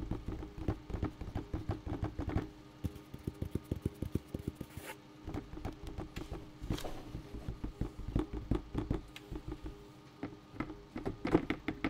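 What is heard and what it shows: A bucket is tapped in a quick, uneven series of about 42 short, dull knocks with a low-mid hollow tone. Each tap dies away almost at once, with no ringing.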